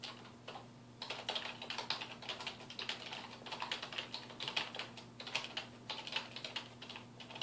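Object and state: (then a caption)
Plastic computer keyboard being typed on. Fingertips type continuously on a full-size black plastic computer keyboard, its hollow housing and keys resting on a wooden desk. The quiet, bright, clicky taps come in quick, irregular bursts with a short pause near the start, each dying away almost at once. A faint steady low hum sits underneath.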